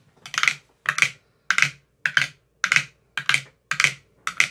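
A metal rod with a white tip taps across the teal silicone cells of an empty clear plastic ice cube tray. It makes eight quick double taps: short, bright, hollow clicks with a faint low thump, each dying away almost at once.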